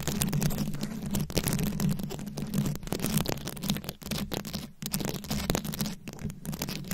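Long pointed acrylic nails scratch rapidly across the plastic beads of a rhinestone-encrusted microphone head held in both hands. The result is a dense, continuous crackling scratch with a heavy low rumble and a steady low hum underneath, broken by brief dips as the nails shift.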